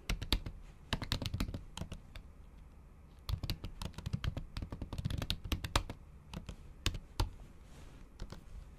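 Acrylic nail tips typing on a MacBook Pro keyboard, its plastic keys covered by a thin pink patterned silicone skin. The clicks are short and dry, with a muffled low thump and a bright tick on each press, coming in quick bursts with brief pauses between them.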